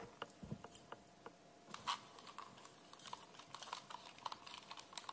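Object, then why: Plastic game controller. A hand-sized, hollow pink plastic wireless gamepad for the Nintendo Switch OLED is held in both hands while fingertips press and click its buttons and d-pad and nails tap and rub the back shell. Around nineteen quiet, dry, sharp plastic clicks and taps sound in an irregular patter with bright edges and almost no ring, over faint rubbing and a soft steady tone.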